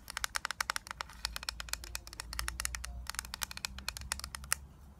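Long nails tap and scratch the lid and the back of a flat, rectangular, hollow clear plastic eyeshadow palette case that holds a grid of eyeshadows and has a paper label on the back. Some three dozen quick, sharp, bright plastic clicks come in an uneven run, with a softer scratching stretch in the middle. A faint low hum sits underneath throughout.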